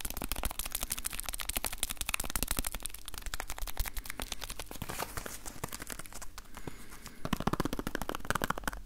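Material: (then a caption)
Cardboard. A small, hollow, yellow printed cardboard box is held in both hands and tapped quickly with the fingertips and nails. The result is a dense run of short, dry tapping clicks with a hollow, papery knock. The tapping eases briefly in the middle, then picks up again toward the end.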